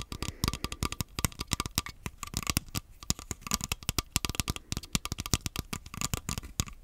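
Fingernails tap and scratch the surface of an empty, hollow black plastic Joy-Con grip. Dozens of quick, dry clicks follow one another in an uneven rhythm, each with a bright, high edge and a soft low thump. Faint scratching sits between the taps, and nothing rings on after each hit.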